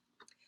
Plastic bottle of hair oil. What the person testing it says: you can't hear it at all because it's frozen